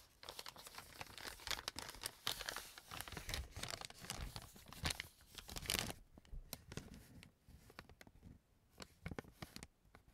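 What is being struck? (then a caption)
Kraft paper bag. An empty brown kraft paper bag is opened and crumpled by hands and fingertips, giving dense, bright crinkling and tearing-like rustles. The crackle is loud and busy for the first six seconds, then thins into sparser, softer crinkles.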